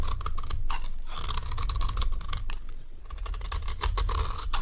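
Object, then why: Bar soap scraped with a metal knife. A metal knife repeatedly shaves a solid, rectangular bar of dry cream soap, producing a steady run of crisp, rapid scraping strokes. Each stroke carries a bright, papery edge over a band near 1 kHz, with a low hum underneath throughout.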